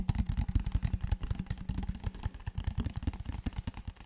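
A large, clear PET plastic water bottle that appears empty is held horizontally and tapped, squeezed and handled with the fingertips. The result is a rapid, continuous run of short, dull, low thumps with a faint crackling clatter and almost no bright high end.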